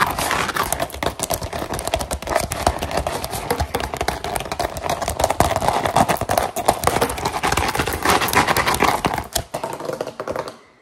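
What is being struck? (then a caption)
Rolled rubber mesh mat. Long gold and silver metal claw finger rings tap and scratch fast on a grey-green textured rubber mesh liner mat rolled into a hollow tube close by. A dense, uneven stream of quick, dry clicks and scrapes blends into a rough, crackling texture with a mid-range body. It continues for about ten seconds before fading out.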